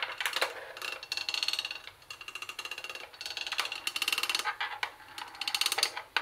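Long nails tap across the plastic top of a CD cassette boombox, over its tuning panel and speaker grille. Quick bursts of bright, dry plastic clicks come in uneven clusters with short pauses between them. The clicks stop dead with no ring and almost no low end.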